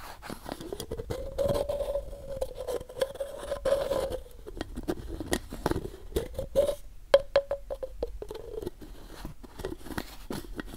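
Fingertips and nails rapidly scratch and tap along the side of a hollow, medium white plastic supplement bottle with a paper label. The result is a dense patter of quick, dry clicks and scrapes over a hollow resonant tone around 555 Hz that swells and fades as the scratching continues.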